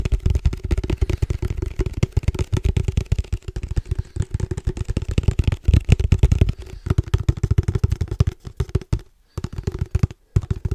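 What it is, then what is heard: Padel ball tube, hollow. A hand-held black padel ball tube with a red logo and a silver metal lid, hollow and apparently empty, is tapped fast with fingertips all over its body and top. The result is a rapid, dense stream of dull, low, hollow knocks with a faint resonant tone, broken by a few brief pauses near the end.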